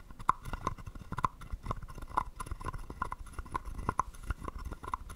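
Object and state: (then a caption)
Wooden frog guiro. A wooden stick taps and scrapes the ridged back of a small, hollow, carved wooden frog guiro. It makes a quiet run of short, dry, hollow clicks and knocks with a woody tone around 1 kHz, and each hit dies away almost instantly. Soft rasping scrapes fill the gaps between the taps.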